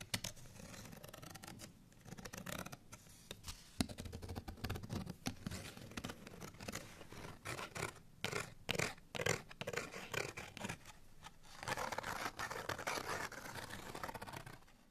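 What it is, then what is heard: Paper cardstock tag. Fingernails scratch a folded, printed cardstock bottle tag that has been opened flat and is held in both hands. The result is dry, bright, papery scratching in rapid, irregular bursts with brief pauses between strokes.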